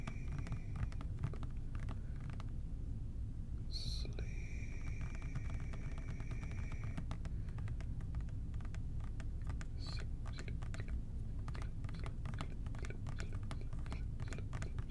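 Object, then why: Plastic trigger spray bottle. Fingertips and short nails tap quickly and gently on a hollow, medium-size OxiClean plastic trigger spray bottle held in both hands, its liquid contents not visible. The result is a dense run of quiet, dry clicks and ticks over a steady low rumble. A brief bright tone appears around four seconds, followed by a faint sustained hum for a few seconds, and another brief bright tone comes near ten seconds.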